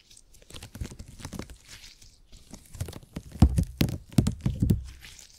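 A purple open-grid gel cushion made of hyper-elastic polymer is stretched wide and squeezed by fingers. It makes a run of soft sticky crackles and crinkling, tearing-like snaps over dull low thunks. The squeezes start quiet and grow louder and denser toward the end.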